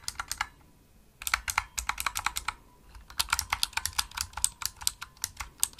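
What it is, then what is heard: Plastic mechanical keyboard. Fingertips with medium nails type fast on a pink full-size plastic mechanical gaming keyboard, a Razer Huntsman with hollow-shelled keys and RGB backlight. Bursts of crisp, bright clicky keystrokes come with short pauses between them, each click dying out almost instantly with little low end.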